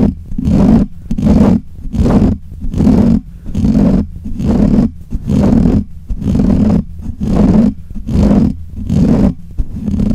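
Fingernails of both hands scratch the black hollow metal mesh grille of a desk microphone in steady back-and-forth strokes. Each stroke makes a rough, boomy scraping burst with a low hum near 215 Hz, and the bursts repeat at about 73 per minute with short gaps between them.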